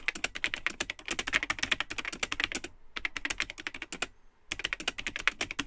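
Fingertips type continuously on the built-in plastic keyboard of a vintage Tandy 1000 HX all-in-one computer, with its cream plastic case and yellowed, hollow plastic keycaps. Dense, bright, clacky keystrokes with very short decay run in bursts, with brief pauses near the 3 and 4.3 second marks before the typing resumes.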